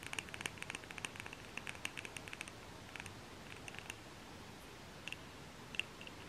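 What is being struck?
Wax-filled glass candle jar.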